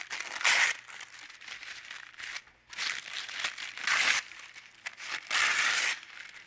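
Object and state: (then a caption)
Thin paper sheet being crumpled. A thin, translucent white paper sheet on a dark table is rubbed flat with the hands, then gathered up and crumpled between the fingers. Soft, steady papery rustling swells into three louder bursts of bright, crisp crinkling, centered around 1.7 kHz, with nothing in the low end.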